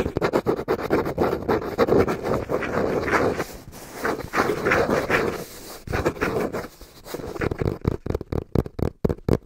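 Fingertips tap rhythmically on the front face of a small, hollow brown cardboard box held flat in both hands. The fast, dull, hollow taps are mostly low to mid in tone and die away almost instantly. They blur into a dense patter through the middle and separate into distinct knocks toward the end.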